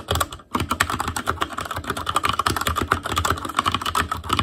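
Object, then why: Plastic mechanical keyboard. Continuous fingertip typing on a black plastic Asus Claymore Core mechanical keyboard. After a brief pause near the start, it becomes a rapid, steady stream of short, sharp clacks with a mid-pitched click tone and a low thud beneath each keystroke.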